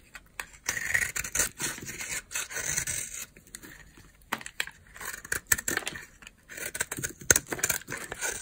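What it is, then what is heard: Dry bar soap being carved and scraped. A utility knife blade carves chunks and scrapes flakes off a solid white bar of dry soap held in the hand. Bursts of bright, crunchy scraping and crumbling come in quick strokes, separated by brief pauses, with little low end.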